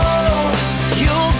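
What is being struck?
Nothing is struck.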